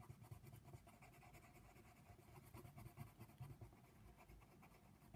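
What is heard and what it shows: A hand holding a brown colored pencil upright colors small areas of a paper coloring book page lying flat. The pencil lead makes a steady, soft scratching on the paper with small recurring swells, over a low, rumbling undertone.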